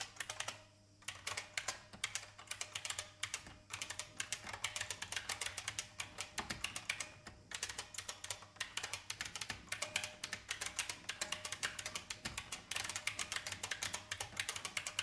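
Fingertips type steadily on a vintage IBM mechanical keyboard with plastic keys, producing rapid, bright, sharp clacks that die away almost instantly. The typing runs in quick bursts with brief pauses near the start, and a faint steady hum sits underneath.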